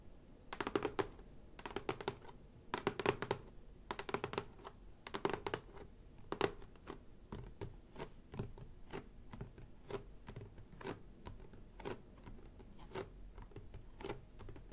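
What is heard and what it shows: Long painted nails on both hands tap and scratch the top of a closed, apparently hollow, medium-size printed cardboard Ooz-o's kit box lying flat on a table. For the first six seconds the taps come in quick clustered bursts, then they slow to steadier, spaced single taps with a light papery scratch underneath. Each tap is a dry, short, hollow knock that dies away almost at once.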